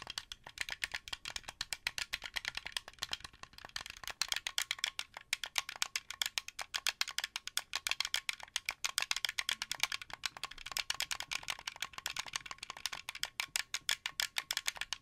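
Fingernails rapidly tap and click the white buttons and thumbsticks of a translucent blue, hollow plastic Xbox 360 controller held up close to the mic. The result is a steady stream of dry, bright plastic clicks with almost no ring and very little low end, like a fast rattle.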